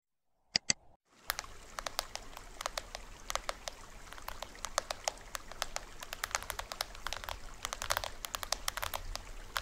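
A small hollow plastic toy drum with a green plastic rim, printed white shell and white cords is held upright in both hands while fingertips and nails tap on its top head and rim. After two sharp opening clicks, a steady stream of quick, dry, bright taps plays over a faint low rumble. Each tap is short and dies away almost instantly, with no ring.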